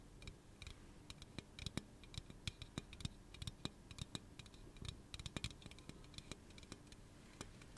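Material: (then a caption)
Aluminum. Fingernails tap and scratch the body of a hollow pink aluminum soda can held in one hand. Many quick, dry clicks land in an uneven rhythm over a soft scratching hiss, each with a short, bright metallic edge and a low, hollow thump that dies away almost at once.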